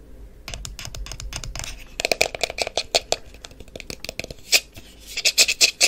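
Long painted fingernails tap and scratch the black screw lid and plastic sides of a small, closed The Body Shop Vitamin E cream jar held in the hand. The first two seconds are a quiet, steady scratching rasp, followed by rapid, bright clicking taps with very short decay. Several sharper, louder taps stand out toward the end.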